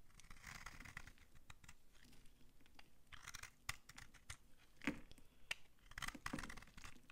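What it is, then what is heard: Dry soap bar. A utility knife scrapes chips off an old, dry, solid pink soap bar held in the hand. The result is a quiet series of dry, crunchy scraping bursts with sharp, bright clicks as the chips break away.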